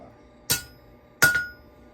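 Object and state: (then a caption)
Ringing wrought iron anvil with steel face. A hammer strikes a wrought iron anvil with a steel plate face twice, each blow giving a clear, ringing chink with a sustained high tone near 1.4 kHz that fades over a fraction of a second. The anvil rings well, unlike a cast iron anvil, and feels lively and bouncy under the hammer.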